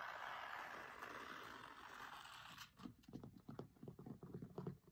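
Fingertips with short nails scratch and tap the grey linen cloth cover of a large, solid, closed hardcover cookbook with a printed photo, lying flat on a marble table. A soft, steady rasp of nails dragging across the cloth fills the first few seconds. It then gives way to a quick, uneven run of dull, low taps that stop almost instantly with no ring.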